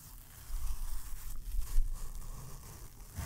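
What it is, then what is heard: Fabric-covered cardboard box. Fingertips and short nails scratch and tap the textured lid of a small, hollow, rectangular green baoding-ball box, likely cardboard covered in green-and-gold brocade fabric, held closed in one hand close to the mic. After a quiet start, a soft, low, rumbling rustle builds at about half a second and continues as steady, slightly uneven scratching, with a small swell near the end.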